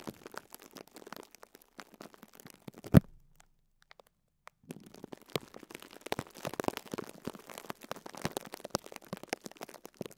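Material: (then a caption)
Plastic film. A small pink and yellow foam sponge wrapped in clear cling film is pressed and squeezed on top by a fingertip and nail, crinkling the plastic. Quiet, dense crackles and crinkles run throughout, with one sharper pop near three seconds, followed by a brief silence before the crinkling resumes more steadily.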